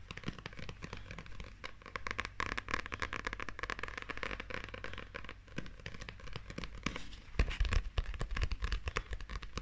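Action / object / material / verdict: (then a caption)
scrape / paperback book with glossy paper cover / paper / none. Long nails scratch and tap the glossy illustrated paper cover, front and back, of a closed, solid paperback manga book held up close. The result is a dense stream of fast, crackly scratches and small dry taps. Bursts of deeper low-end thumps come near the end.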